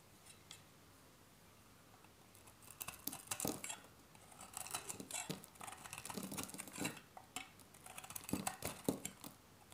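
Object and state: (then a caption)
Dry bar soap. A metal box-cutter blade shaves crisp flakes off the edge of a solid, hand-sized bar of dry soap with a green stamped face, held in the hand. After a near-silent start, a dense run of short, dry, bright scraping crunches begins around two and a half seconds in and continues to the end, each cut dying away almost instantly.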